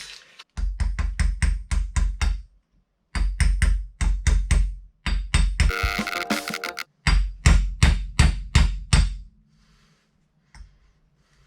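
A steel bearing race is hammered into the front wheel hub of a Mercedes W124 during a wheel bearing replacement. Rapid, sharp, low-pitched metallic knocks come in several bursts separated by short pauses. The hammering sound changes, showing the race has bottomed out in its seat.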